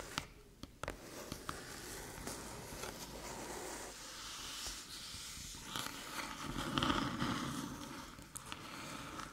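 A small, flat, hollow aluminium USB-C hub rests on a dark table while long metallic nails tap its top and scratch near its ports. Sharp, bright clicks stand apart early on, then give way to a steady, hissy scraping with a low hollow body that swells louder near the end.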